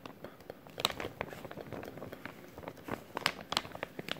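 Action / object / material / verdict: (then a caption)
scrape / clear plastic zip-lock bag / plastic film / none. A clear plastic zip-lock bag is held in both hands while fingertips crinkle and rub the resealable film. The result is a continuous dry, bright crinkling and crackling with quick, sharper snaps scattered throughout, and almost no low-end body.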